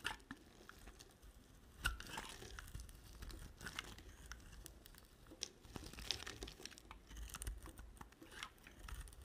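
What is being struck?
Solid bar of soap.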